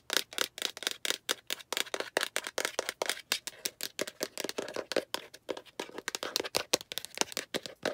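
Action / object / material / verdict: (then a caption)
tap / plastic egg capsule / plastic / none. Long nails rapidly tap and scratch the sides of a hollow, translucent yellow-green plastic egg capsule, which is then turned to show its rounded end with a seam. About forty quick, dry, bright clicks and scrapes come in a steady run, each dying away at once, with almost no low end.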